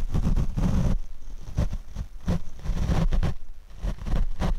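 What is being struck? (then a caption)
Foam microphone windscreen. A paint brush is swept over the black foam windscreen on a Rode microphone. The result is close, deep rumbling swishes that swell and fade with each stroke, with almost no bright content.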